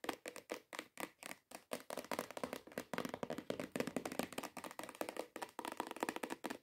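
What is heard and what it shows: Long acrylic nails tap fast on the top surface of a long, hollow, cream-coloured cardboard perfume gift box. The taps are short, dry and hollow-sounding, centred around 500 Hz with little low end. They start as spaced bursts and then run together into a dense, rapid patter.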